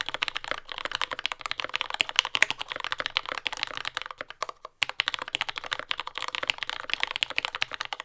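A compact J-01 mechanical keyboard with lubed yellow Gateron Ink switches, dark brown plastic keycaps and a carbon fiber plate sits on a desk mat and is typed on continuously with the fingertips of both hands. A dense stream of short, bright, clacky keystrokes with almost no low end runs throughout, with a brief pause just before the midpoint.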